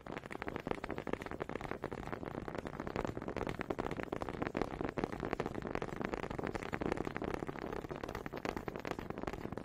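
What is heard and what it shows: Two small solid wooden honey dippers, held by fingers with long pink nails, are knocked together close to the mic. The result is a steady run of quick, dry wooden clicks and taps with almost no ring, centred in the low-mids with little bright content.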